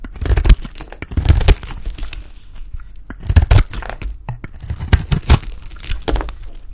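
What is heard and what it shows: A dry Palmolive cream bar soap is scraped and shaved with a utility blade, its shavings piling up below. Dense, scratchy crumbling scrapes come in bursts, with a deep low thump under each stroke and faint bright crackle on top.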